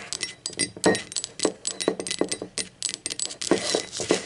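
Long acrylic nails tap and rub the printed base and rim of a blue speckled ceramic mug lying on its side. About sixteen quick, bright clicks sound in an irregular run, each with a short, dry ring and a faint midrange tone, separated by soft scratchy rubbing.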